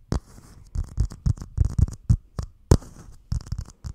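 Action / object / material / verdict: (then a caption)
tap / plastic dome cup lid / plastic / none. A small, hollow, empty clear plastic dome cup lid is held over the microphone with both hands and tapped and scratched with the fingertips. Irregular bursts of deep, hollow thumps come with a bright, papery scratching hiss on top. Each burst stops short and dry, with quiet gaps between clusters.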